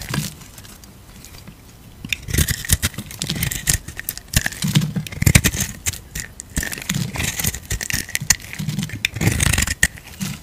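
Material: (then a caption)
Soap. A utility knife blade scrapes across the surface of an oblong, pale-yellow bar of soap held in the palm, shaving off curls. After a quiet opening, repeated crisp scraping strokes come in bursts, with a bright crackly texture over a soft low rumble.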